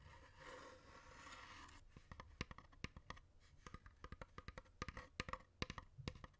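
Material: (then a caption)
Wood. A long, hollow, dark wooden incense box with painted mandala decoration is scratched on its lid by fingernails and fingertips, giving a soft, steady rasping for almost two seconds. This is followed by a run of sharp, dry, irregular taps on the lid that stop quickly, with bright clicks over a low, hollow knock.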